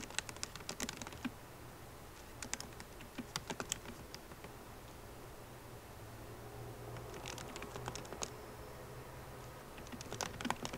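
Long painted nails and fingertips of both hands type on the butterfly keyboard of a 13-inch MacBook Pro, with black plastic keycaps set in a hollow silver aluminum body resting on a wooden desk. Bursts of quick, sharp, bright clicking taps come in clusters separated by quieter pauses. A steady low hum sits underneath throughout.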